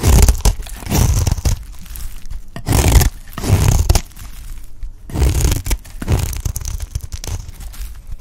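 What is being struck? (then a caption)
Bar of soap. A beige bar of dry soap, held in the hand, is shaved into strands with a utility knife blade. Each pass gives a dry, crunchy scraping and tearing sound. The strokes come in repeated, uneven bursts with a low, heavy body.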